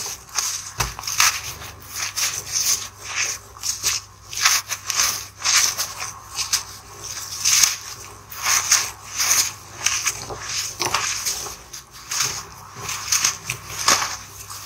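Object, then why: Gym chalk chunks and powder. Bare fingertips and thumbs squeeze, rub and crush a pile of solid, crumbly white gym chalk (magnesium carbonate) chunks and powder on a table. Repeated bright, dry crunches and crackles come in short bursts with soft gritty rubbing between them, almost no low end and very little ring. The chunks are ground down into powder.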